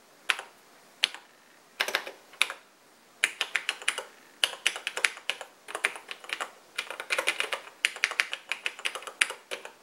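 Fingertips of both hands type continuously on the black plastic keys of a vintage cream plastic Radio Shack portable computer. The result is bright, crisp plastic clicks in quick bursts separated by brief pauses. Each tap dies away almost instantly with no low-end thump.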